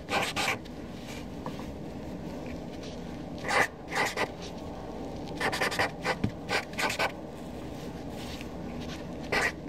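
A hand with long nails writes on a flat white paper sheet on a desk with a black Sharpie marker, the felt tip rubbing and squeaking across the paper. Short bursts of bright, scratchy strokes come in clusters with pauses between them, over a steady low background hiss.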